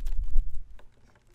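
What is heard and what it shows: A folding fan with white plastic ribs and a printed pleated fabric leaf is held open and waved, then snapped open and shut with one hand. Dense, low, breathy flutters and rustles fill the first half-second, followed by a few soft clicks and taps. The sound fades to near silence.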